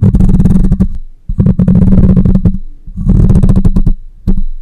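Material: Metal mesh.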